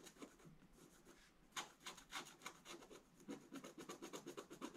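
A pointed wooden stylus scratches across a black-coated scratch-art paper page in a bound book, making quiet, dry rasping strokes. After a softer first second and a half, the short scraping strokes come faster and brighter, in an uneven rhythm with hissy high edges.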